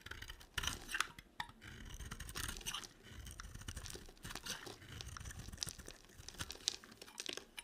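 A small metal blade scrapes and chips brittle flakes off a hand-sized bar of dry white and pink soap, held in one hand with long dark nails. The result is a quiet, steady run of dry, crisp, bright scraping and crunchy crackling, with sharper chips popping out now and then.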